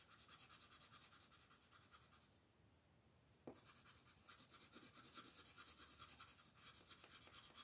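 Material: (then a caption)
Paper. A colored pencil tip scratches and rubs back and forth across a flat paper coloring book page to shade the background, while the other hand holds the page flat. Rapid, rhythmic, bright scratchy strokes run steadily and pause briefly near the middle. A soft tap marks the pause's end, and the strokes resume, slightly louder.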